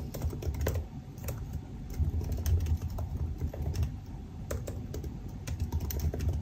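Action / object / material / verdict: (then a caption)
tap / laptop keyboard, plastic keys in aluminium body / plastic / none. Both hands type with their fingertips on the black plastic keycaps of a silver aluminum laptop resting on a desk. The result is a steady stream of short, quick key taps, mostly dull, low thumps with faint bright clicks on top.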